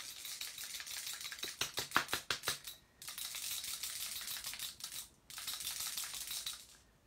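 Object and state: Ink spray bottle with ball bearing rattling freely, contents mixed.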